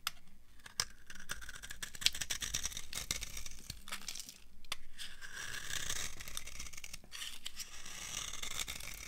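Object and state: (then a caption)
Dry soap bar. A dry beige solid soap bar is scraped with a metal blade, shaving off crumbly pieces. Dry, crunchy scraping and crackling fill the clip, with many short clicks and bright, hissy texture over a low rumble.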